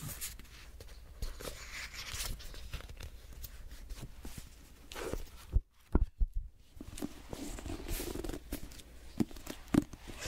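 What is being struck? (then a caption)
Hardcover paper notebook. A grey patterned hardcover paper notebook has its pages rubbed and flipped with fingertips, giving soft papery brushing and rustling over a low rumble. A brief near-silent gap falls near the middle, broken by a few sharp taps and flicks before the rubbing resumes.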